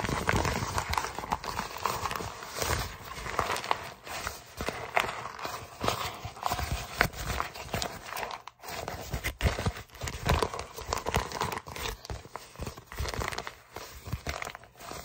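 An empty, hollow brown recyclable kraft paper mailer bag is held in both hands and crumpled and crinkled with the fingertips. The result is a steady stream of dense, crackling paper rustle with bright edges that swells and fades in loudness, with a brief near-silent pause about halfway through.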